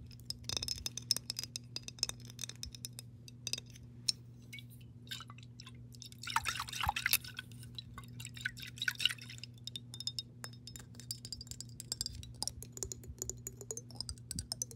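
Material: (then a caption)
Glass. Long pink nails tap and scratch the body and base of an embossed clear glass mason jar, hollow and partly filled with water, while the water shifts a little inside. Many quick, bright glassy clicks sound over a steady low hum, with a denser stretch of rough scratching midway through.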